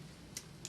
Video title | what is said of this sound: Inspecting a Log Home in Colorado | listen for changes in sound because decayed wood is less dense than sound wood so it sounds differently